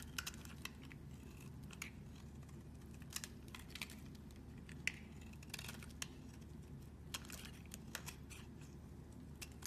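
A metal blade scrapes and cuts small cubes off a solid tan soap bar held in hand, making quiet, crisp scraping ticks and sharp little snaps scattered across the clip. The bright, short cuts sit over a steady low hum.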